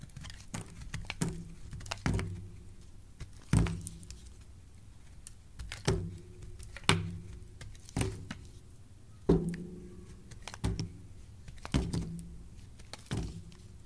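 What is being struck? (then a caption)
Bar of soap scraped with a metal blade. A solid yellow soap bar held in the fingers has its corners carved and scraped with a metal blade. Irregular, dull, low thunks and short scraping cuts sound one after another, each dying away quickly over a quiet background.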